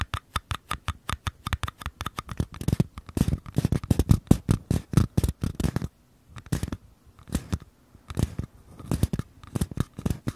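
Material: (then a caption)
Paper. Fingertips tap and scratch the bottoms of two identical small, empty, hollow paper cups held sideways. Quick, dry taps with a hollow low thump come in rapid bursts, mixed with short scratchy rubs, and a brief quiet pause falls near the middle.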